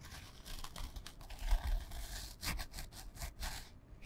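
Long fingernails scratch a small, flat, printed canvas fabric pouch held in front of the microphone. The result is a series of dry, rasping scratch strokes with bright, papery texture and soft handling thumps underneath. The strokes come in short bursts that stop abruptly.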